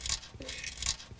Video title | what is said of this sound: Diagnosing Catalytic Converters | you know a catalytic converter is cooked when you can shake it and hear it rattle